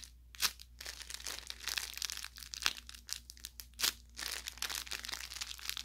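Fingers squeeze and crumple the tip of an orange velour plush carrot toy, soft-stuffed with crinkle filling. Bright, dry crinkling and crackling comes in bursts with a few sharper pops, over a faint steady low hum.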